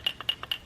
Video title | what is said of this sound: Ep.1: Dead Generator Revival | there's no more fuel and if you shake it you can hear that float moving up and down